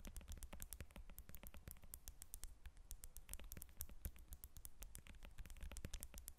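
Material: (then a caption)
Citrus peel. Long red nails scratch and tap the peel of a whole yellow lemon resting on a glass table. The result is a quiet, rapid stream of short, dry clicks with bright scratchy edges over a steady low hum.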